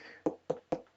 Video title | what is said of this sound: Big Fruit can't wait any longer! Join me for an off-the-books Lunch. | still sounds nice and solid and Hollow you can hear that tap tap tap